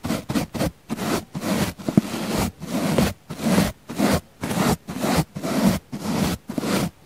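A wooden-handled paint brush with natural bristles brushes the side of a round, solid, soft, palm-sized pink foam sponge in fourteen separate strokes over about seven seconds. Each stroke is a soft, dry, scratchy rustle with most of its body in the low-mids and little high end, and the strokes come at an uneven pace with brief silences between them.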